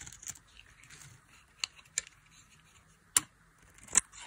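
A palm-sized bar of dry beige soap, held in a hand with long glittery purple nails over a pile of soap shavings, is carved and scraped with a black-handled knife blade that peels off thin curls. Several short, dry, crisp scrapes and cuts stand out sharply above a faint, steady hiss, each bright and high-pitched with almost no ring.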